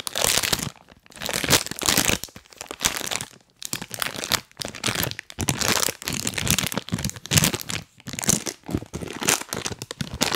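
A full printed plastic cookie bag is held close and crinkled and rubbed with rubber toy hands worn on the fingers. Bursts of dry, bright crinkling and crunching come in short waves separated by brief pauses, with sharp crackles over a thin low end.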